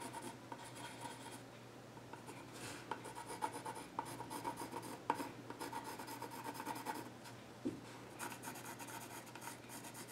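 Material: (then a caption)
Wood. A yellow graphite pencil scratches lines across the flat top of a solid, dark-stained wooden child's stool. Quiet, dry scratching and rubbing strokes come in uneven bursts with a few sharper ticks, over a faint steady low hum.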